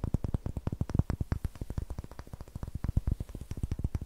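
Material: Wood.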